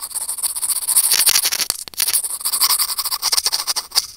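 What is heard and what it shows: Curved steel tweezers scratch over a small, hollow, white plastic earphone mic remote, making a dense run of quick, dry, bright scrapes and clicks with almost no low end. The scratching is fairly loud and continuous, with a brief near-pause just before the two-second mark before it picks up again.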